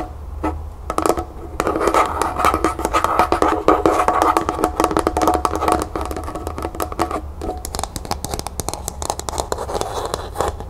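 Long nails rapidly tap and scratch the sides and base of a small, hollow, matte pink plastic cup, first resting upside down on a table and then held in the hand. Quick, uneven hollow clicks blend with dry scratchy rasps that have a mid-range plastic tone, over a faint steady low hum.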